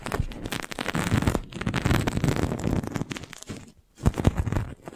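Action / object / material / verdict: tap / thin plastic balloon bubble / thin plastic / none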